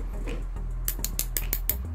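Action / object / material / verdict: tap / aluminium fishing reel spool / aluminium / real metal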